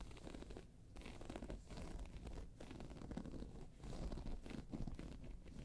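Long pointed nails on one hand scratch and tap the round face of a round, hollow, tan croc-embossed faux leather handbag lying on its side. The result is a steady, low, rasping scratch with brief dips between strokes and faint tapping mixed in.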